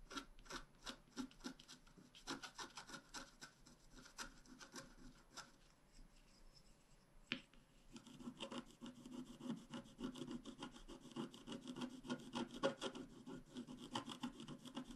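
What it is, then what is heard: Scratch art card being scratched. A wooden stylus scratches leaf and petal shapes into a thin, flat, black-coated scratch art card, making quick, uneven, dry rasping strokes with a soft, papery, fairly bright edge. The scratching is quiet and close, eases into a sparser stretch broken by one sharper scrape around the middle, then returns denser and busier through to the end.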